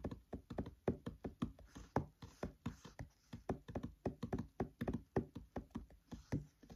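Fingertips tap on the paper pages of an open paperback book, seen close up. The clip has 31 soft, dull, low taps in a quick, uneven rhythm, each dying away almost instantly with little brightness.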